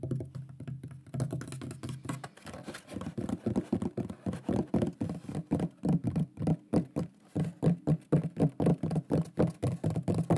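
A large, flat, solid wooden shield-shaped pyrography plaque with a burned lion design is tapped and knocked quickly with the fingertips and nails. The result is a rapid, uneven stream of short, dull, low-pitched wooden knocks, roughly four per second, each dying away almost at once.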